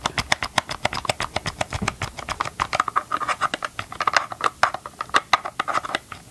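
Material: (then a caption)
Plastic. Gloved fingertips scratch and tap the hollow hard plastic housing of a tilted Ryobi chainsaw close to the mic. The result is a rapid, dry patter of short, clicky scratches with a bright edge and a faint hollow ring around the mid-range.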